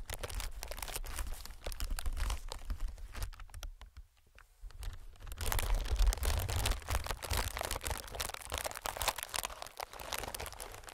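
Fingertips of one hand, then both hands, tap and scratch a clear inflated plastic film air packing pillow. They make a dense, irregular patter of crinkly, bright crackles over a soft low thumping. The sound dips into a brief near-silence around four seconds, then resumes louder and busier.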